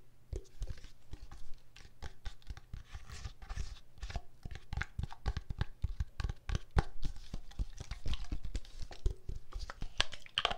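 A pink, filled plastic body mist spray bottle with a gold cap is turned in the hand while long nails tap and scratch it. A steady run of sharp, dry taps with short low thuds is heard, with light scratching and rustling between them for about ten seconds.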